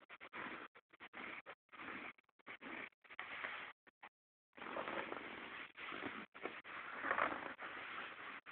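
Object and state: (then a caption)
Denim jeans. Fingertips and short nails scratch light-wash cotton denim jeans lying flat on a bed, working around the back pocket seam. Quick, dry scratching bursts separated by brief silences give way, after a short pause, to longer and slightly louder stretches of continuous raspy scraping. The sound is a bright, papery texture with almost no low end.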